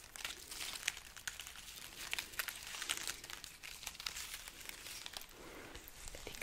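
A dried red chili pepper garland is held overhead while its pods are rubbed and scratched with long nails. The result is a quiet, continuous stream of dry, papery crinkling and crackling, with sharp bright clicks and scrapes scattered throughout and very little low end.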